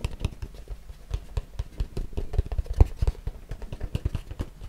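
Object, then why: Small closed cardboard box. A small, hollow, closed white cardboard box, hand-sized, is tapped and scratched with fingertips and nails. A rapid, irregular run of short, dull, low thumps comes through, each dying away almost instantly, with faint scratchy ticks between them.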